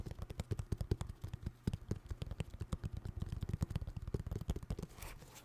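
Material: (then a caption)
Synthetic leather. A pair of white New Balance 608 sneakers of synthetic leather with rubber soles is tapped rapidly by fingers, producing a dense run of soft, dull, low thumps with very little ring. Near the end the taps fade into a quieter, slightly brighter rustle.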